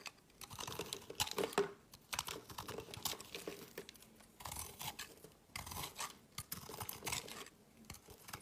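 A metal knife cuts small chunks off the end of a solid green and yellow layered soap bar held in the hand, in repeated cuts. Each cut makes a crisp, bright scraping crunch with short quiet gaps between the strokes, and the small chunks come away from the bar.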